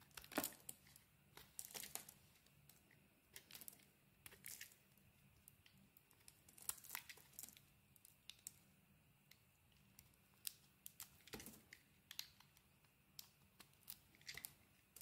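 A knife blade carves chunks off a solid, hand-sized oval bar of cream soap with a dark blue coating. Quiet, bright, crisp scraping and crackling cuts come in short bursts over a faint low hum, each cut dying away almost instantly.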